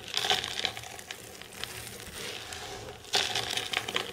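Hands with long silver nails dig into, squeeze and pat a mound of dry green soap shavings. The result is a bright, crisp crinkling and crunching rustle with little low end, loudest at the start and again in a sharp burst about three seconds in.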